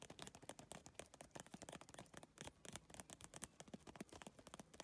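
Long nails rapidly tap and lightly scratch an iridescent, holographic geometric PVC tile bag made of triangular plastic tiles. The result is a quiet, dense run of short, crisp clicks with bright plastic edges and faint scratchy textures between them.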